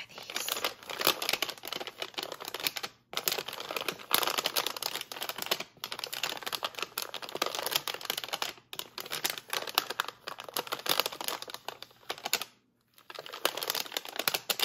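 Long painted fingernails scratch and tap the same spot on a printed orange plastic bag of Cara Cara oranges with a label, the bag full of firm round fruit. The result is a steady, bright crinkle of plastic mixed with quick, dry, typing-like nail clicks, broken by a few short silences.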